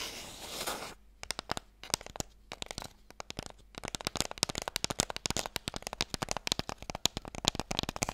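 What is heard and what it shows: A light, hollow wooden Mikado box is held in both hands and tapped quickly with fingernails. A brief broadband scratchy rustle in the first second gives way to a rapid, irregular run of sharp, bright clicks, each dying away almost instantly over a faint low hum.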